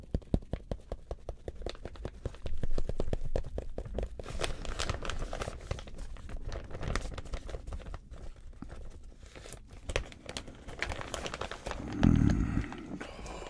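Gloved fingers grip the zipper edge of an empty, medium-size, clear plastic zip-lock bag made of thin, flexible film, and crinkle and rub it. The result is a dense, irregular run of quick crackling snaps and crinkles over a soft rustle. The sound swells into louder bursts of rubbing near the three-second mark and again near the end.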